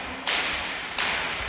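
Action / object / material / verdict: tap / concrete support pillar / concrete / hollow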